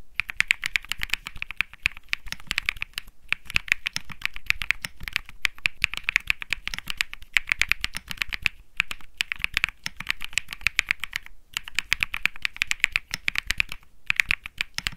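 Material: Plastic.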